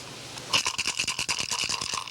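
A turtle shell, filled with a measured handful of small smooth pebbles and its mouth closed, is shaken to check whether the amount of pebbles is right. After a brief quiet start, a rapid series of bright, dry clicking rattles follows, with almost no low end. Each pebble strike dies away quickly.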